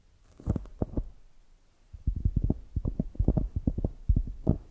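Long nails tap and scratch the upper surface of a polyurethane foam squishy donut with an orange top. The result is a string of soft, dull, low thumps with no brightness: a few taps, a short quiet pause, then a quicker, denser run of muffled taps.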